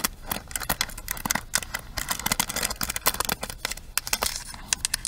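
A pink plastic paddle hairbrush is held upright while long nails scratch across its bristle pins and tap on its plastic frame. The result is a dense run of quick, bright clicks and scratchy rattles with very little low end, each tick dying away almost instantly.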